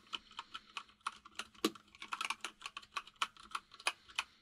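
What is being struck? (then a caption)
Plastic mechanical keyboard keys. Both hands type rapidly with their fingertips on a white full-size mechanical keyboard with plastic keycaps resting on a desk. About two dozen quick, bright, clicky taps come in an uneven stream, each dying away almost instantly. A faint steady hum sits underneath.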